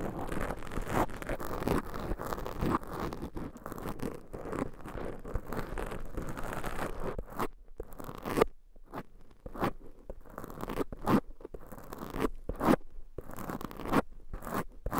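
Long pointed nails scratch the black foam covers on two microphones, making a dense, muffled crunching and rustling. For about the first half it runs continuously, then it breaks into short, separate scrapes with quiet gaps between them. The sound is mostly low and mid-range, with little brightness.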